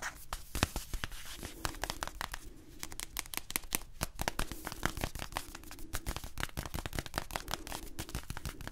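Fingertips and short nails rapidly tap and scratch the surface of a small, hollow blue cardboard box held close up. The result is a dense run of sharp, dry clicks with a dull, low hollow body and brief scratchy rasps between them, each tap dying away almost instantly.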